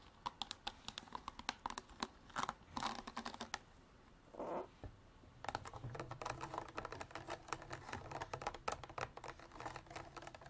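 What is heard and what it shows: Long black artificial nails tap and scratch a clear, ridged hard-plastic drink bottle with an orange cap, partly filled with water and held in both hands. Rapid, dry clicking taps come in bursts, broken by scratchy stretches and a brief soft swishing pause midway. Each tap is short with almost no ring.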